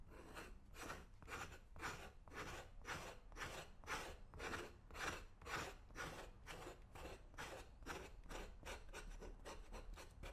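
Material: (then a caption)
Leather. A flat metal scraper blade is drawn repeatedly along the side and toe of a brown leather boot for the right foot, held in one hand. Each scrape is a rough, rasping stroke with a bright edge, coming about twice a second in a steady rhythm over a low rumbling base.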